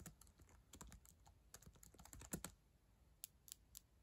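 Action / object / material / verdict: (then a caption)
tap / plastic laptop keyboard / plastic / none. Long acrylic nails and fingertips type fast on the plastic keys of a solid black ThinkPad laptop keyboard. Rapid, quiet clicks and taps, each with a low thud and a bright nail tick, cluster densely in the first half. The strongest strikes come near the middle, then sparser, sharper taps follow.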